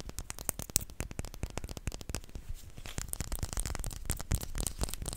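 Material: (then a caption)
Glass. A small clear glass perfume bottle, partly filled with pink liquid and held in the fingers, is tapped rapidly with short nails. The taps are quick, dry clicks with bright edges that die away almost instantly, running in a dense, irregular patter that grows busier in the second half.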